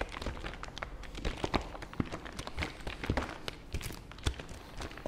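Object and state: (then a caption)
Plastic fabric softener bottle. Fingers tap rapidly and irregularly on the hollow body of a plastic fabric softener bottle as it is moved in front of the microphone. Each tap is a short, dull, low thunk with a brief bright click that dies away almost instantly.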